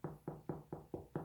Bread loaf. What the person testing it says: if you hear a nice hollow sound that means it's nicely and cooked